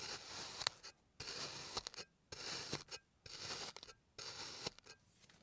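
An already-sliced blue kinetic sand bear shape on a green surface is cross-cut with a clear plastic blade in five repeated strokes. Each stroke makes a bright, gritty, crunchy scrape, and short silences separate them.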